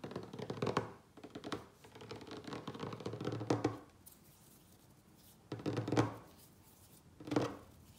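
A solid wooden tabletop is tapped quickly with the fingertips and short nails of both hands. Dull, low-mid knocks mix with light clicky nail scratches in rapid flurries, broken by quiet gaps. The taps stay dry and short, with almost no ring after each one.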